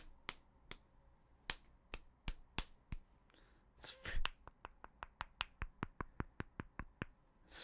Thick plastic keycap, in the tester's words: this is freaking solid just like it's freaking solid it's like a brick